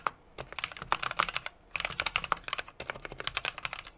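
A small 60% mechanical keyboard with an aluminum case, brass plate and plastic cherry-profile keycaps sits on a desk and is typed on continuously with the fingertips of both hands. Quick, dry keystroke clicks come in three bursts separated by brief pauses, each click short and bright with a tone around 1.2 kHz and almost no low end or ring.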